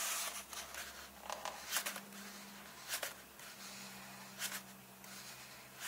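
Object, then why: Paper book pages. A fingertip points to, taps on and rubs the paper pages of an open illustrated book. Soft, bright dry taps and brushing rustles stand out over a quiet, steady low hum, each tap dying away almost at once.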